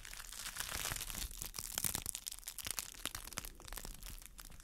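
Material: Plastic.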